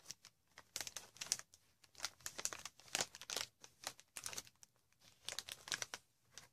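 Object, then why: Plastic air-pillow packaging wrap. A green plastic air-pillow packaging sheet with inflated cells is scratched and tapped across the cells with long red nails. Quick, bright crinkling and ticking bursts come in uneven clusters, with faint, close detail and almost no low end.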